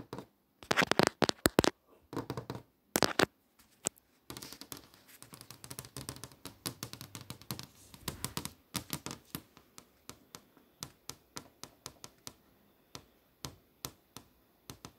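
Long nails tap and trace across the flat glass screen of a touchscreen display, over the posters and text shown on it. The result is bursts of quick, dry clicks and light scratching with a bright edge and almost no ring, at times dense and rapid, at other times spaced out.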